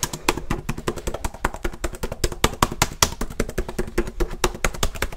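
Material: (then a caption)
Plastic. One hand types quickly with the fingertips on a black plastic laptop keyboard, producing a fast, uneven stream of short, dry clicking taps. Each tap has a dull low thump under a bright plastic click, with no ring after the keys.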